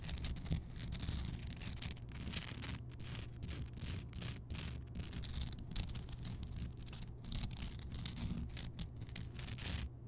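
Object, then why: Rock salt lamp. Long painted nails scratch and tap the surface of a large, solid, glowing pink Himalayan rock salt lamp. Bright, dry scraping bursts come in quick, uneven strokes with short gaps, over a steady low hum underneath.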